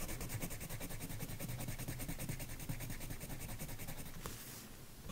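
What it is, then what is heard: Colored pencil on paper page. A hand with painted nails rubs and scratches a wooden colored pencil in short strokes across the flat paper page of an adult coloring book lying on a woven mat. The result is a steady, dry, scratchy rubbing that repeats about twice a second, heavy in the low end with a bright grainy hiss. Near the end there is a brief sharp tick, and then the strokes turn quieter.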